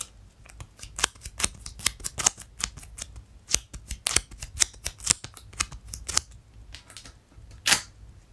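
Fingernails scratch the hollow-lugged black and pink rubber outsole of an empty Skechers hiking boot with a suede and mesh upper, held upside down. A rapid, irregular series of short, sharp, bright scratching clicks is heard, with a louder scrape near the end.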